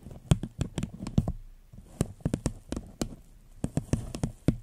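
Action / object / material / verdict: tap / paper cup / paper / none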